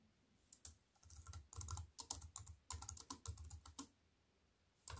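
Fingertips with white-painted nails type on a slim wireless keyboard with black plastic keys in a grey metal-look frame, lying on a wooden table. Quick, irregular bursts of crisp, bright clicks over soft low thumps die away almost instantly, with a brief pause before the typing resumes at the end.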